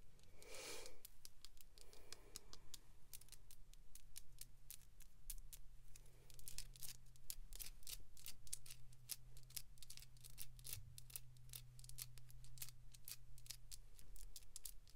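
Long pink acrylic nails scratch and tap a small hollow plastic capsule ball with pink glitter and a toy attached, held in the hands. Quick, bright clicks and scratchy strokes come in a dense, steady run over a faint low hum, each tap dying away almost at once.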